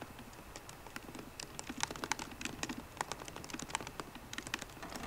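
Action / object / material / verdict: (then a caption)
tap / laptop keyboard, plastic keys on aluminium body / plastic / none. Both hands type continuously on a MacBook Pro keyboard, using fingertips and long painted nails on the plastic keycaps over its hollow aluminium body. The result is a quiet, steady patter of quick, dry clicks and taps with a bright edge. Each keystroke cuts off almost at once.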